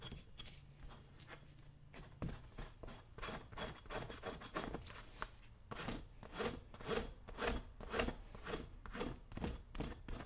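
A brown leather work boot is held by the toe while a dull metal chisel scrapes along the side of the leather upper in repeated strokes. The result is a steady series of dry, raspy scraping swipes, roughly two per second, with a low rumble underneath and faint bright hiss on each stroke.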